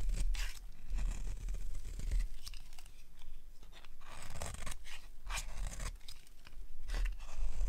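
A solid lilac oval bar of dry soap, held in the hands, is carved with a metal blade, and brittle flakes break off. Repeated dry, crunchy scraping strokes come with bright crackling bursts over a steady low rumble.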